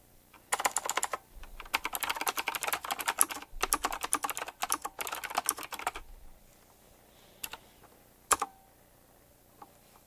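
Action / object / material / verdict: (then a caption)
tap / typewriter-style mechanical keyboard with plastic keycaps / plastic / none. Fingertips type quickly on a full-size typewriter-style mechanical keyboard with round black plastic keycaps, chrome-look rims and a metallic frame. Dense bursts of sharp, bright clicks run for about six seconds with brief pauses. A few isolated taps follow near the end.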